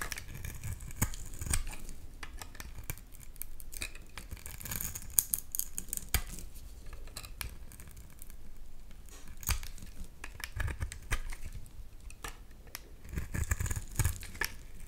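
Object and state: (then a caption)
Bar of soap being carved. A utility knife blade scrapes and carves shavings off the edge of a solid rectangular bar of translucent amber-yellow soap held in one hand. The sound is a steady run of soft, dry scraping strokes with crisp, bright clicks and low, muffled thumps throughout.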